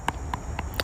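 A wild puffball mushroom is tapped four times, giving short, dull knocks with a faint ring around 1 kHz that die away almost at once. The knock sounds solid, as a dense, intact puffball should.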